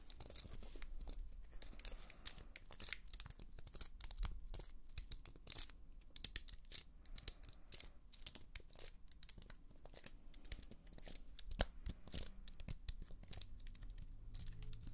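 Long nails rapidly tap and scratch across the plastic keys of a slim white computer keyboard with an aluminium body, held up close. The result is a dense stream of sharp, bright clicks and scrapes with almost no ring, over a steady low hum.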